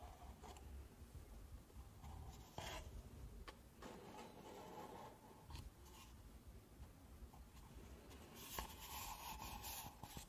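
Long nails rub and scratch the walls of stacked, empty pink paper cups held with their open ends facing forward. The result is a quiet, continuous papery rubbing over a low rumble, with brighter scratchy bursts flaring up near the start and louder, hissier scraping toward the end.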